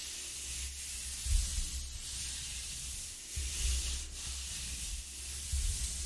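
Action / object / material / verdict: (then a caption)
scrape / corrugated cardboard sheet / cardboard / none. A flat palm and fingers rub back and forth over the ridges of a flat corrugated cardboard sheet lying on a wooden table. The result is a steady, soft, hissy scraping with a bright papery texture over a low rumbling undertone. The sound swells slightly with each stroke, roughly every two seconds.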